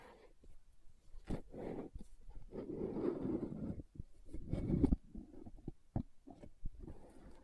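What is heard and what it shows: Long nails scratch and tap the lid and sides of a green plastic aloe gel tub. Soft, muffled scratching swells alternate with sharp, dry taps that stop almost instantly. The sound stays quiet and dull, weighted toward low and mid tones with no bright edge.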